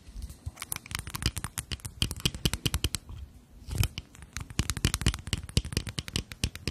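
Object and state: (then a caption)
Glass foundation bottle. Long natural nails rapidly tap and scratch a small rectangular glass cosmetic foundation bottle with a black cap, filled with beige liquid and held in both hands. The result is a dense run of short, dry clicks with a low knocking body and bright, crisp edges, mixed with softer scratchy rasps. There is a brief lull near the middle before the tapping resumes just as quickly.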